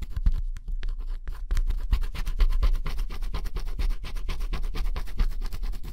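A wooden stylus held in the fingers scratches the black coating off thin, solid cardboard jigsaw puzzle pieces lying flat on a table, revealing blue colour underneath. Close, rapid, continuous scratching strokes rasp against the cardboard with low thuds against the table, after a brief, quieter pause near the start.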